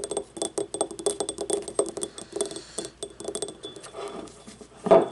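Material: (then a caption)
Ceramic. Long painted nails rapidly tap and scratch a small, hollow, yellow, ribbed, glazed ceramic paint cup that sits empty and upright on a wooden table, making a steady run of light, clicky taps with a bright, brief ring. The cup is then tipped over at the end, giving one louder clunk.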